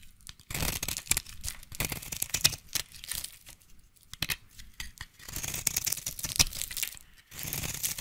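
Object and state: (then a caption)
Bar soap being shaved. A hand-sized solid orange bar of soap, held in one hand with pink long nails visible, is shaved and scraped with a utility knife blade, cutting curls and shavings off it. Bright, dry scraping strokes come in bursts with short pauses between them, and there is a faint low thump under some of them.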